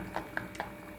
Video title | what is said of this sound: கண்ட கண்ட நொறுக்கு தீனியை சாப்பிடறதுக்கு இதை வீட்டிலேயே ஈஸியா டிரை பண்ணலாமே - Butter Murukku Recipe | You can hear a crispy sound when you tap the murukku